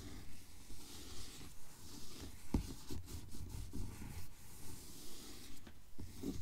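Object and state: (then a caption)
Hardcover book with paper dust jacket. Long fingernails of both hands tap and scratch the glossy paper dust jacket of a Mockingjay hardcover book lying flat on a table. A steady, rhythmic mix of soft scratching rubs and light taps forms a low, muffled texture with faint bright hiss, and one sharper tap stands out midway.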